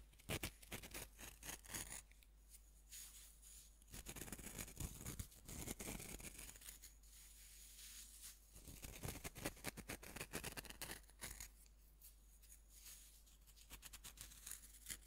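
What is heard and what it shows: Fingers rub and crumble a fist-sized, solid pink pressed-powder bath bomb held over a wooden board, and the powder falls away. Bursts of dry, bright crunching and gritty scraping come in waves, with quieter, softer rubbing between them over a faint steady low hum.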